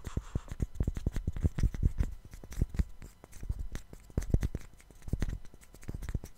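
Two small solid light-wood cubes, one held in each hand close to a microphone, are rubbed and scratched against each other and with fingertips. The result is a dense stream of quick, dry clicks and scrapes with very short decay and mostly low, thumpy energy, swelling and easing in uneven bursts.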